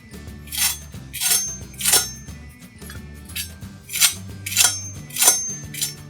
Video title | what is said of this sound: How To Cook Turkey Gas Grill Easy Simple | here's a listen on how crispy the skin came out